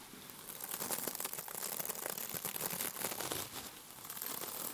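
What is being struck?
Mesh-covered scrub sponge.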